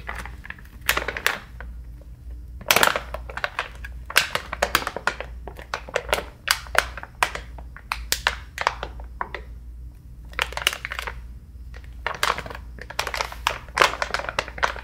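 A medium-size soft plastic-film pouch of facial cleansing wipes, filled with wipes and topped with a hard plastic flip lid, is held in both hands and tapped and scratched with short nails and fingertips on the lid and film. Quick bursts of dry, crinkly taps and scratchy clicks come in uneven clusters, each dying away almost instantly over a steady low hum.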